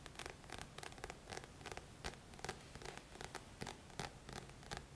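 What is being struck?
Paperback book with card cover.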